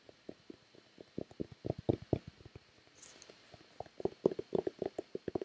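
Long red-painted nails and fingertips tap a hollow white plastic Nivea lotion bottle in an uneven, quick series of short, dry, hollow knocks with a low-mid tone. A brief bright scratchy brush sounds midway before the tapping picks up again, louder and faster toward the end.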